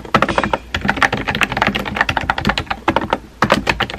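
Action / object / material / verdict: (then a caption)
tap / plastic mechanical keyboard / plastic / none. Fingertips with painted nails type rapidly on a compact pink plastic mechanical keyboard with round white-and-pink typewriter-style keycaps and a hollow body, resting on a desk. A fast, uneven stream of short, clacky key taps with a hollow mid-range tone and bright click edges, each dying away almost instantly. Two brief pauses break the typing before it resumes.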